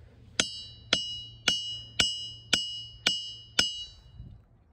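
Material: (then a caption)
Rock. A glacial boulder in a ringing rock field is struck with a hammer seven times at a steady pace. Each hit gives a sharp metallic ping with a high, bell-like ring around 2.9 kHz that fades quickly.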